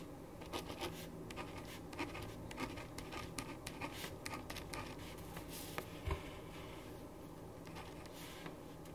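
A ballpoint pen writes on a thin printed paper sheet lying flat on a wooden desk. It makes a steady run of short, dry scratching strokes, each with a bright edge, over a constant low hum.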